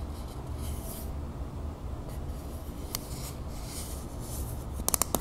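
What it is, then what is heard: Metal aerosol can. Long nails scratch along the body of a medium, hollow, copper-colored Vaseline metal aerosol spray can held upright, making a soft, steady rasping over a low rumble with faint bright hiss. Four quick, sharp taps on the can close the clip, each dying away almost instantly.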